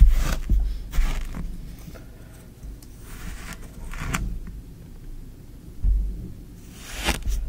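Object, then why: Kinetic sand in a tray, stirred with a wooden stick. A small wooden spoon or stick is pushed and dragged through green kinetic sand in a shallow tray, scraping and poking the sand. Soft gritty scrapes with brief bright hissy bursts come over a dull low rumble, in irregular strokes separated by quiet pauses.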